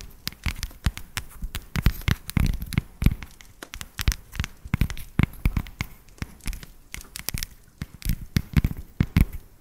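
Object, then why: Dark chocolate bar. An unwrapped, palm-sized solid dark chocolate tablet is held up near the microphone and tapped and scratched with long decorated acrylic nails. It makes a rapid, irregular stream of sharp, dry clicks and crackly scratches that die away almost instantly, with a soft low thump beneath the bright nail ticks.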